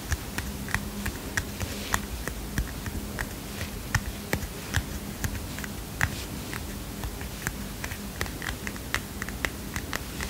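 A small heart-shaped paper notepad with a kitten print is held up, then tapped and scratched with fingernails. The result is a steady run of quick, dry paper taps and brief bright clicks over a low, soft hum.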